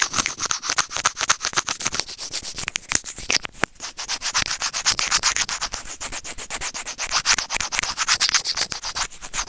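Serrated plastic tweezer tips scrape rapidly over a small, hollow, white plastic earphone inline microphone remote. The result is a dense run of bright, crackly scratching strokes, roughly four per second in an uneven rhythm. The strokes are dry with almost no low end, and each one stops instantly without ringing.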